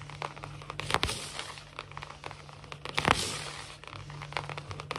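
Long natural fingernails of both hands rapidly scratch and tap across a large, solid, glossy wood-look laminate floor. Dense, bright crackly scrapes and quick clicking taps swell louder around the first and third seconds over a faint steady low hum.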